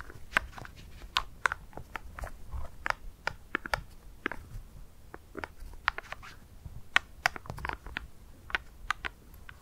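Black plastic glove claws tap and scratch a single small, solid dry ice pellet resting on dark fur. The result is an irregular run of sharp, dry, bright clicks with almost no ring, separated by soft, brief scratching.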